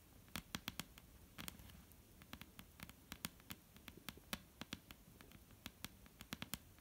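Long almond-shaped painted nails on both hands tap slowly on a flat, solid dark-brown wooden tabletop. Some thirty quiet, sharp, bright clicks land at an uneven pace, each dying away at once with no ring, over a faint low hiss.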